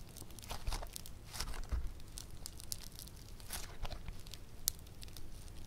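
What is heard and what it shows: A fist-sized lump of soft, solid, bead-textured yellow foam clay (floam) is squeezed and pulled apart by fingertips and thumbs on a table where other clay balls sit untouched. It gives a steady run of quick, dry, crunchy crackles and tearing crinkles, with bright, sharp snaps over a low, soft rumble.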